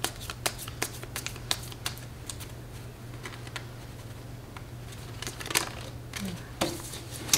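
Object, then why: Paper playing card deck. A standard deck of coated paper playing cards with blue patterned backs is held in both hands over a glass table, split and shuffled with long red-painted nails and fingertips, riffling and bridging the cards. Sharp, bright clicks and quick papery flutters come in bursts over a steady low hum.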